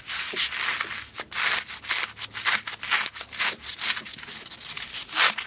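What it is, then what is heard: Floral foam block being crushed. A small green floral foam brick with four colored jelly cubes set into it is held in both hands and crushed and broken apart with the fingers, tearing off chunks of foam. Bright, dry crunching and rubbing crackles come in quick, uneven bursts with no low end, each snap dying away almost at once.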